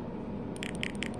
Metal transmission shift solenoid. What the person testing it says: when I shake it it's loose